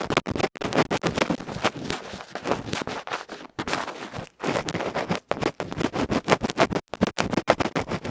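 A bamboo ear pick scratches hard and fast across the felt face of a small electret microphone capsule, a metal can with a felt cover held in the fingers close up. It makes loud, rapid, broadband rasping and crackling strokes in dense bursts, broken by a few brief silent gaps.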